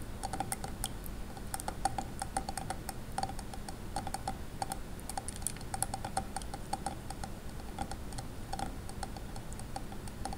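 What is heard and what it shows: Fingers stir and rub glass gems in a wet tray of water, producing a quick, steady stream of small glass clicks with a bright, ringing tick near 780 Hz over a soft, low watery background. Each click is short and dies away almost at once.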